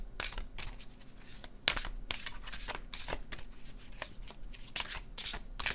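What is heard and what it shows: A blue-edged glossy cardstock oracle deck is held in one hand and overhand shuffled, the paper cards sliding and flicking against each other. Quick, bright, crisp rustles and soft flicks repeat in uneven bursts, with a sharper snap standing out partway through.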